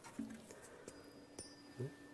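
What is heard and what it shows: A metal U-shaped tuning fork is struck four times with its resonance box removed, so that the metal prong vibrates on its own. Each strike gives a faint, short clink with a low tone around 223 Hz that fades quickly, leaving a thin, quiet sound.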